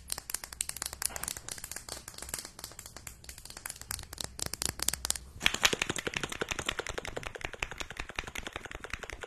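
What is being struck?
Small plastic mascara tube.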